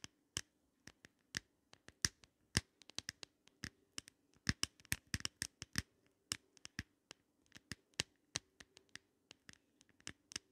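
Long nails scratch and tap the round glass mirrors of an open, small double compact set in a pink glitter plastic frame. The result is an irregular run of sharp, bright ticks and clicks that die away almost instantly, over a faint low hum.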